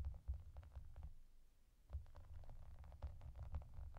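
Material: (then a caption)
Plastic. Long dark nails tap and scratch across a clear, soft plastic bath mat covered in small raised hollow bubbles and yellow duck shapes. The sound is a quiet, low, muffled thudding with faint, short clicky ticks scattered throughout. It dips to near silence around the middle, then resumes with steady tapping.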